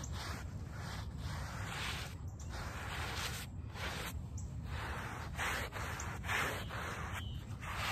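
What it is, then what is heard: Woven rug backing being scrubbed. A small handheld brush with a brown back scrubs the woven backing of a small, wet, soapy rug lying on pavement. The result is a steady, rough, wet swishing and rasping with a low rumble beneath. Brighter hiss rises and falls with the brush strokes.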